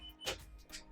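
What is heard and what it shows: Two light taps on a baked-through gluten-free almond flour bread roll give short, hollow-sounding knocks. The knocks are crisp and bright with almost no ring, showing the roll is done.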